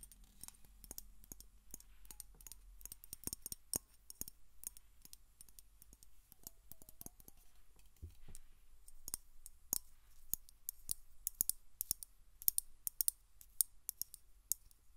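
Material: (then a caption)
Metal. A Glade air freshener aerosol can, a medium-sized hollow metal cylinder with a purple plastic cap, is held in one hand and tapped and clicked along its side with long acrylic nails. Dozens of sharp, bright clicks come in an uneven, rapid stream, each dying away almost instantly, over a faint low hum.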